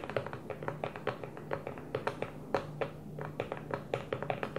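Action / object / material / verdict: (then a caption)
tap / plastic food storage container / plastic / none. Long French-manicured nails tap rapidly on an empty, hollow clear plastic food container with a blue lid, resting upside down on a table. About 29 short, bright clicks fall in uneven rhythmic bursts over a faint low hum. Each tap carries a light hollow ring and fades almost at once.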